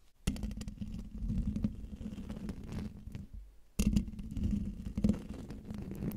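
Long dark fingernails scratch the hollow metal mesh grille of a silver microphone, making a dense, low, rumbling scrape with a steady hum around 200 Hz and faint brighter crackle on top. The scratching fades and stops briefly just before the 4-second mark, then resumes louder and continues to the end.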